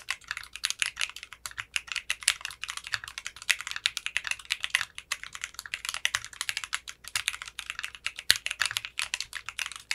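Fingertips type steadily on a 60% mechanical keyboard with clear pink polycarbonate keycaps and a translucent case. The result is a continuous stream of quick, bright, crisp clacks with a very short decay and almost no low end, plus an occasional sharper, louder keystroke.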